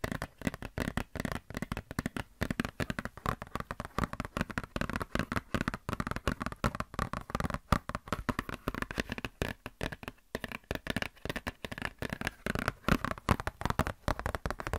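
A glossy paper Blizzard Shop catalog booklet is scratched and flexed with long nails. Rapid, dense bursts of dry crinkling and scratching run continuously, with short, clicky attacks that die away almost instantly. The texture is broadband but weighted toward low and mid tones, with little bright content.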